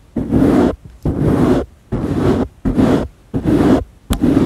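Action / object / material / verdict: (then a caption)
scrape / foam microphone windscreen / foam / none. Fingertips rub and scratch over the surface of a round black foam windscreen, soft and porous, on a microphone that is itself being touched. Six separate bursts of close, muffled rustling scrape come in a loose rhythm, each rich in low-mid rumble with little brightness. Short quiet gaps fall between them.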